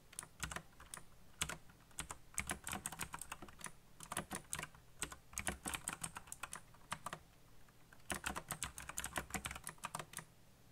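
A backlit black plastic mechanical keyboard with solid keycaps on hollow key switches is typed fast with fingertips. Bursts of bright, sharp clicks and clacks come in quick runs with short pauses between, each tap decaying almost instantly over a faint low hum.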